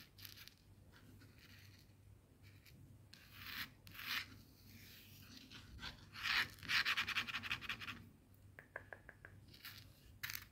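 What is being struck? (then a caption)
Coarse bath salt crystals on a plastic board. Fingertips and nails scratch and gather a small pile of coarse bath salt crystals on a white plastic cutting board. Bright, gritty scratching and rubbing comes in uneven bursts over a faint low hum, with a denser, louder run of quick scrapes near the middle. Each grainy stroke stops short with almost no ring.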